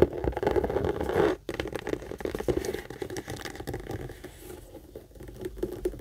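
Long acrylic nails rapidly tap and scratch the front and sides of a medium brown pebbled-leather Michael Kors tote, hollow and apparently empty, held up by its handle. The result is a dense, irregular patter of short, dull, mid-toned taps mixed with scratchy rasps, with a brief pause near the start before it carries on more softly.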